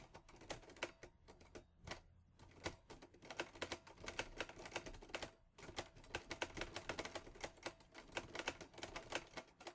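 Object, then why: Metal manual typewriter. Fingertips type on the keys of a mint-green Olivetti Lettera 22 portable typewriter with a metal body and paper loaded. Quick, sharp, bright clacks come in rapid bursts, each dying away almost instantly, with short pauses near 1 and 5 seconds.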